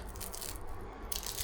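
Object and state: Crispy baked baklava.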